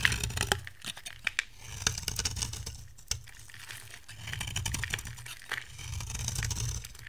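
A metal box-cutter blade scrapes flakes off the top edge of a dry, hand-size, cream-white bar soap with a pink outer layer, held in one hand. The sound is a dry, crinkly scraping with sharp, bright ticks and clicks over a low rumbling hum, swelling into longer rasping strokes toward the end.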